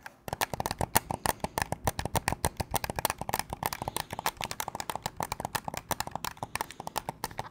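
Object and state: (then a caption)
Plastic game controller. A hand-sized white and black plastic gamepad in the PlayStation DualSense style, with a hollow casing, is held in both hands in front of the microphone while fingertips press its buttons and triggers and tap the shell. Rapid, dry clicking and tapping runs continuously, each click short and sharp with little ring and a bright edge centered around 900 Hz.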